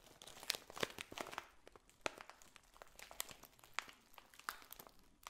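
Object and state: Cellophane bag of dried potpourri.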